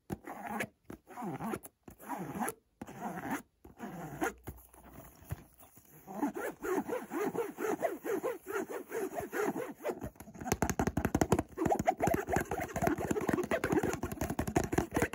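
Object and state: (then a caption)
Cardboard perfume box. Fingertips and nails scratch and rub the face of a closed white cardboard Montblanc eau de toilette box with a dark stripe. Short, dry scraping strokes come in quiet bursts with pauses at first, then turn into a steady, louder run of fast scratching in the second half.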